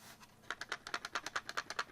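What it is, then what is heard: Counterfeit shaver cassette rattling when shaken. A counterfeit Braun 32B/32S electric shaver foil and cutter cassette, whose cutting blades run on plastic rods, is shaken by hand. After a faint start, its plastic runners hit each side in a quick series of about fourteen sharp, dry clicks. The rattle marks it as a fake, since genuine parts have metal runners and make no noise at all.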